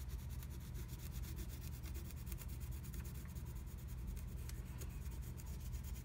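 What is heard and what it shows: A wooden stylus scratches the black coating of a flat scratch art sheet along a butterfly wing. It makes a quiet, steady rubbing scratch with faint bright ticks over a dominant low hum.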